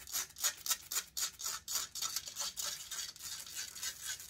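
Long acrylic nails rapidly scratch the hollow metal mesh grille of a large silver Blue Yeti–style USB condenser microphone while the other hand holds the mic body. The result is a fast, fairly steady run of bright, hissy scratching strokes, close to four per second, with almost no low end. Each stroke dies away almost instantly.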